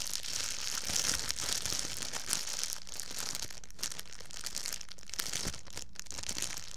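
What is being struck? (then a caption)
Thin plastic bag. A thin, empty clear plastic bag is held up close to the microphone and crumpled between the fingertips of both hands. It gives a steady, dense crinkling with bright, high rustle and soft low handling thumps, continuing for the whole clip.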